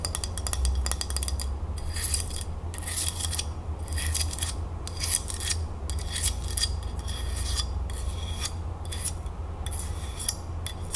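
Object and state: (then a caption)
Ceramic dish scratched with nails. Long nails scratch and tap the surface of a small glazed ceramic dish shaped like a hand, held in one palm, with a bead bracelet hanging nearby. Bright, rasping bursts of scratching come in quick, repeated strokes separated by short pauses, over a steady low hum.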